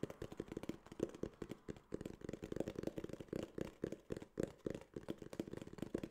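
Fingertips tap and scratch a small, hollow, tan kraft cardboard case in a quick, uneven run of soft taps. Each tap gives a short, dull, hollow knock with a low-mid body and almost no high end, dying away at once, with light scratchy rustles in between.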